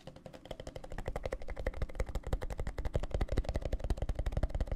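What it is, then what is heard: Plastic tumbler of gel water beads. Fingertips tap quickly on the walls of a clear plastic tumbler full of teal gel water beads, held horizontally and then upright. The taps are short, dull, low thuds with almost no ring. They start soft and grow louder and denser, about 31 in all, in a loose, uneven rhythm.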